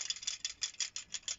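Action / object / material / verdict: shake / plastic model railway coach with fitted coin battery / plastic / tight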